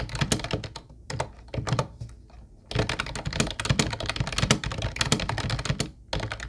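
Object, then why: Plastic keyboard. Fingertips of both hands type steadily on a mint-blue plastic Ubotie retro keyboard with round white keycaps. The result is a dense run of short, clacky taps with a low plastic thump and bright key clicks. The taps come in bursts separated by brief pauses.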